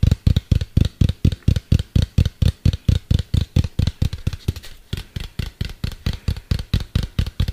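A medium hollow white plastic cylinder, held sideways near the mic, is tapped rapidly with fingertips and nails, giving about 36 short, deep, hollow thuds with faint clicky edges. The taps keep a quick, slightly uneven rhythm, soften briefly around the middle, then pick back up.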